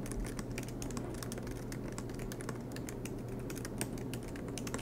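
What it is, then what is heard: Laptop keyboard being typed on. Both hands type continuously with fingertips on a silver MacBook Pro, tapping its low-profile black plastic keys set in an aluminium body, with the laptop resting on a desk mat. A steady stream of soft, quick key clicks with bright tips runs over a constant low hum throughout.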